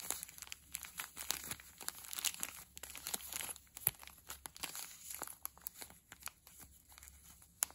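A small clear polyethylene zip-lock bag with a red seal strip, full of soft blue felting wool, is held in both hands, squeezed and rubbed with the fingertips while the zip seal is pinched open. It gives a quiet, steady stream of bright, dry plastic crinkles and sharp little crackles with almost no low end and no ring after each snap.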